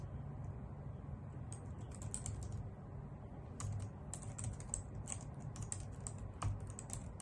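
Both hands with long nails type fast on a full-size white plastic computer keyboard resting on a wooden desk. Quick, bright clicks and taps run in an uneven stream over a steady low hum.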